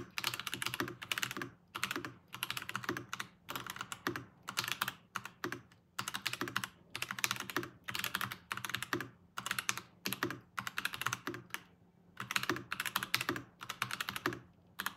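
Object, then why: Mechanical keyboard with plastic keycaps. Steady two-handed fingertip typing on a Varmilo VBS108 Chinese-style mechanical keyboard with Kailh Ask Crane switches and plastic keycaps. Bursts of quick, bright clicky keystrokes come in runs separated by short pauses, each press short and dry with almost no ring.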